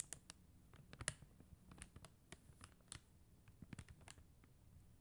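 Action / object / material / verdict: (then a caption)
tap / plastic gem stickers on paper backing tapped with acrylic nails / acrylic plastic / none. Long teal acrylic nails tap and click on a flat sheet of clear and blue faceted plastic gem stickers on white paper backing. The result is a quiet, irregular series of short, dry clicks with bright, crisp tops and a low soft thump beneath.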